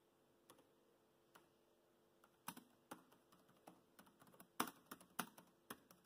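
Fingertips type slowly on a laptop keyboard with black plastic keys, producing quiet, irregularly spaced soft clicks and taps. Each keystroke is short and dry, with a few louder presses standing out over a faint steady background hum.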